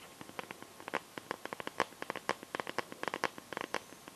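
Long yellow-painted nails tap and scratch the back of a smartphone in a clear, hand-sized plastic liquid-glitter case. About 22 short, crisp clicks come in an uneven rhythm, with a bright tone centered around 1 kHz and faint scratching between them. The taps die away almost instantly.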